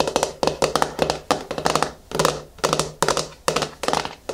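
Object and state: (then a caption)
Plastic jar lid. Long nails and fingertips tap the flat top of the screw lid on a medium yellow plastic hair mask jar resting on a wooden table. About twenty short, hollow plastic clicks and taps come in quick clusters with brief pauses, each dying away almost instantly with a mid-pitched, slightly bright tone.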